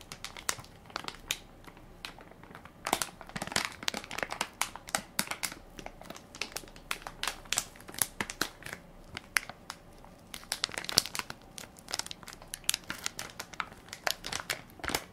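A full, soft plastic-film baby wipes pack with a plastic lid is held in one hand while fingertips and nails crinkle and scratch its film top. The result is a steady stream of sharp, bright crackles and scratchy rustles with very little low end. Each snap is dry and dies away almost at once.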